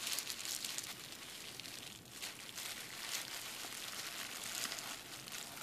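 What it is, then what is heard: Plastic bubble wrap. A sheet of clear plastic bubble wrap is first tapped with fingertips, then rows of hollow bubbles are pinched and popped between thumbs and fingers. The result is a quiet, steady stream of bright, high crinkling and crackling, with small sharp pops and almost no low end.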